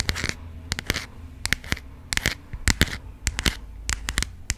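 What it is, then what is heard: Passport booklet with plastic-coated cover, tapped with nails. Long acrylic nails tap and scratch a burgundy passport booklet, its paper pages held in a textured plastic-coated cover. Short, sharp clicks and bright, crackly scratches come in quick bursts over a steady low hum.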